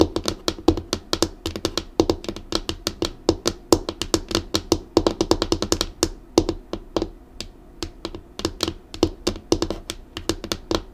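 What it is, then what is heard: Laminated wooden desk. Long acrylic nails on both hands drum quick taps across the flat, solid tabletop of a black laminated wooden desk. Each tap gives a sharp, bright click over a short, dull knock that dies away almost at once. The rapid patter runs throughout, dipping briefly just past the middle before resuming at a slightly softer level.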